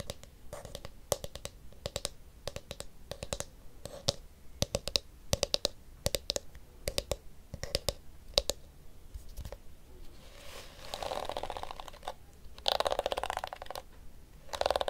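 Fingernails tap the blue, hollow plastic back of a small detangling hairbrush, making sharp, dry clicks with a faint hollow tone. Scattered taps give way to faster, denser runs of tapping and scratching near the end.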